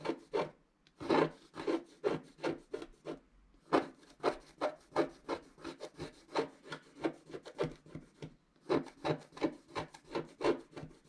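A wooden stylus makes dense scratching strokes across a flat scratch-art card of black wax-coated paper while the other hand steadies the sheet. Some thirty short, dry rasping scrapes come in quick bursts with brief pauses between runs, each stopping almost at once with no ring.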